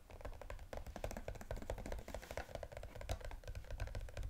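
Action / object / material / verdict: tap / small cardboard box with a plastic window / cardboard / none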